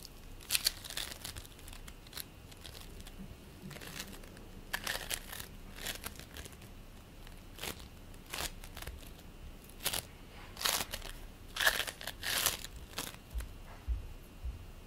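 Fingers squeeze, pull and crush purple play foam made of polystyrene beads, producing crunchy, crinkling crackles. Short, bright bursts of crackle come in irregular clusters over a quiet background, with the denser, louder crunches toward the end.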